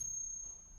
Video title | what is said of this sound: Антиквариат: оригинал vs подделка. В чём разница и как не быть обманутым | Nun, das ist Kupfernickel, aber er macht auch ein Geräusch, aber er ist eine geprägte Münze.